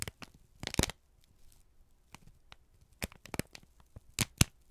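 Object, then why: Folded kraft paper sheet. A folded, crinkled sheet of brown kraft paper is held in both hands and squeezed and crumpled with the fingertips. Sharp, bright crackles and crinkles come in short bursts separated by quiet pauses, with the loudest crunches near the start and end.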